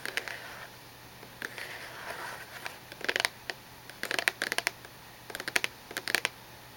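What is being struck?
Cardboard tissue box.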